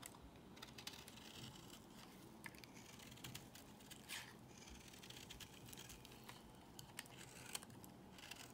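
A solid white bar of soap held in the hand is scraped with a box cutter blade. A quiet, steady, gritty scraping runs throughout, dotted with many sharp, bright crackles and clicks that die away almost instantly.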